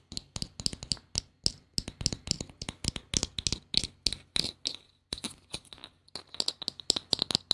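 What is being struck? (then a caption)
Small plastic bottle cap. A small, hollow blue plastic bottle cap held close to the mic is tapped and scratched with long painted nails. It makes a rapid string of sharp, bright clicks and scratchy ticks that die away almost instantly, with a brief pause near the five-second mark.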